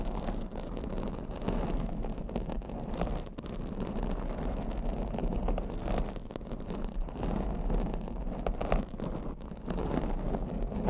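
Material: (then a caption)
Foam. Long blue acrylic nails scratch and rub a black foam microphone windscreen, producing a steady, dense, muffled scratching and rustling dominated by low rumble. The level stays fairly even throughout with small bursts and brief dips.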